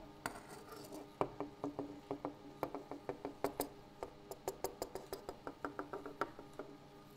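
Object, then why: Wooden tabletop. A wooden table surface is tapped by hand in a steady, uneven rhythm, producing 29 short, dry knocks. Each tap has a hollow mid-range tone around 410 Hz with faint bright clicks, dying away almost instantly over quiet background hiss.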